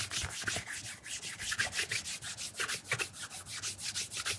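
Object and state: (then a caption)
Leather shoe being polished with a cloth. A black leather loafer with a shoe tree, held in hand, is mirror-polished on its leather vamp by fingers wrapped in a white cloth. Quick, uneven strokes make soft, bright rubbing swishes, about sixteen in a row.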